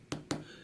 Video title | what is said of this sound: Sub 5 Inch Smartphone Battle Z3 Compact vs G3 S vs One Mini 2 | sounds like plastic feels like plastic